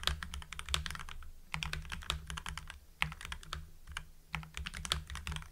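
Fingertips of both hands type on a full-size mechanical keyboard with lubed Gateron Yellow linear switches, white PBT cherry-profile keycaps and blue backlight. Quick bursts of crisp, poppy keystrokes come with brief pauses between them, each with a sharp, bright attack and a very short decay. A steady low hum runs underneath.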